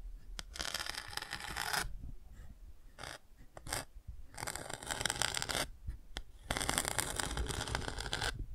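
A thin bamboo ear pick scratches and traces over the textured chick patch of a large touch-and-feel children's board book with thick cardboard pages, held open. Three long passes of bright, dry scratching stand out, with short ticks and light taps between them over a low rumble.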